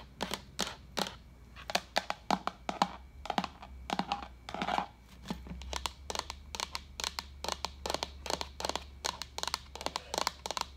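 Long acrylic nails tap and scratch the sides of a hollow, apparently empty translucent white plastic pitcher with a pink lid, held sideways. A quick, irregular series of sharp, bright, clicky taps sounds, broken by a few brief scratchy rubs, over a faint low hum. Each tap dies away almost at once.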